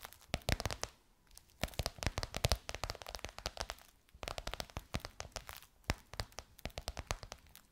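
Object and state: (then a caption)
Faux leather pillowcase tapped and scratched with nails. Long white nails tap and scratch across a gold crocodile-embossed faux leather pillowcase stretched over a soft pillow. Quick, dry clicks and crinkly scrapes come in bursts, with brief lulls near one and four seconds, and each tap dies away almost at once.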